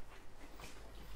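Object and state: Nothing is struck.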